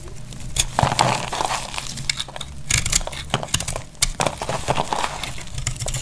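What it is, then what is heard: Dry laundry soap bar. A dry, tan-brown solid laundry soap bar is carved with a utility knife blade, and dry chips crack off. A steady run of crisp, crunchy cracks and bright clicking snaps follows, with brief louder bursts as pieces break away.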